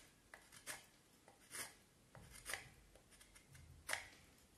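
A knife carves and scrapes the end of a solid vine wood stick held in the left hand, cutting in short strokes. Several quiet, dry, bright scraping rasps come at an irregular pace, each fading quickly with soft rustling between them.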